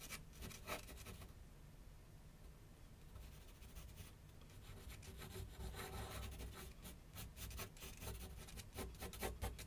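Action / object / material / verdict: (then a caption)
scrape / graphite pencil on a paper sheet on a drawing board / paper / none. A graphite pencil rubs and scratches sketch strokes across a large flat sheet of white paper on a board on an easel. Quiet, dry scratchy strokes come in quick, irregular bursts over a steady low hum, growing busier and louder toward the end.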